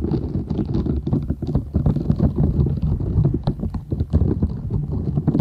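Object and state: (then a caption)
Silicone scrubber sponge. A flat, thin purple silicone scrubber sponge with short bristles is held folded in both hands while long nails scratch and rub across it. The result is a dense, continuous stream of soft, low, muffled scratching and rubbing with many quick, closely spaced scrapes and faint high bristle flicks.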